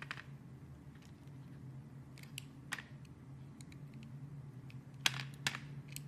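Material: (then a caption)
Glycerin soap. A small, solid, hand-held piece of translucent green glycerin soap is carved and cut with an orange-handled utility blade. Sharp, bright, crisp clicks and scraping snaps come at irregular intervals, the loudest near the end. A steady low hum runs underneath throughout.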